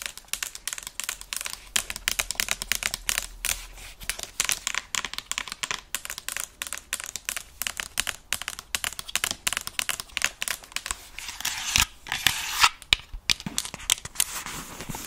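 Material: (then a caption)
Plastic. Long nails tap and scratch the hollow plastic earcups of a white and black over-ear gaming headset held in front of a mic. The result is a fast stream of sharp, dry, bright clicks with almost no low end. Around the twelve-second mark they thicken into a brief scratchy rasp.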